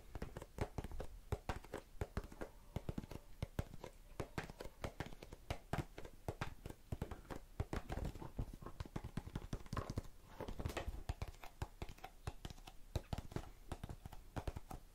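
A small blue and clear plastic tub full of cotton swabs is tapped rapidly with long nails. The result is a dense, steady stream of short, dry clicks with a low, soft body and almost no ring, continuing at an even quiet level for about fifteen seconds.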